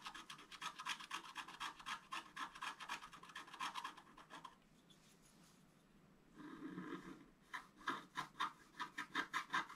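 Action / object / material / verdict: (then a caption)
scrape / black-coated scratch-art paper card with wooden stylus / coated paper / none. A wooden stylus scratches the coating of a thin, solid, flat black-coated scratch-art paper card lying on a table, moving in quick back-and-forth strokes. Dense, bright, raspy scratching runs for about four seconds, then a brief near-silent pause gives way to a longer, duller rub. A final run of separate, crisp scratch strokes follows.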